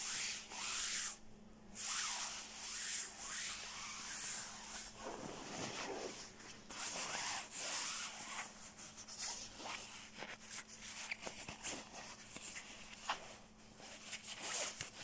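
An open hand and fingertips rub and scratch the shell of a black quilted nylon down jacket lying on blue bedding. The result is a soft, bright, hissing swish of nylon with quick scratchy rasps, over a faint steady low hum.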